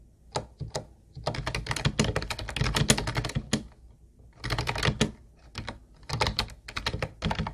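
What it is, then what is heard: Plastic keyboard being typed on. Both hands rapidly type with their fingertips on a hollow teal plastic Ubotie keyboard with round white plastic keys. Bursts of fast, clacky keystrokes with bright tops and a hollow low thump are separated by short pauses.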